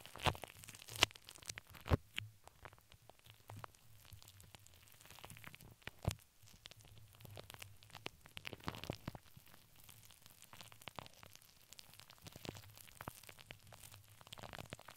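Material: Steel mesh.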